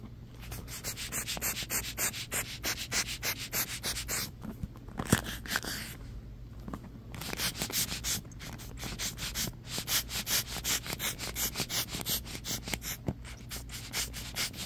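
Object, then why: Plastic paddle hairbrush with bristle pins. Fingertips and nails rub and scratch rapidly along the ball-tipped plastic bristle pins of a hand-held, hollow-backed black plastic paddle hairbrush with a rubbery cushion base. The result is a dense, bright, hissy stream of quick scratchy strokes over a steady low hum, easing briefly into softer rubbing midway before picking back up.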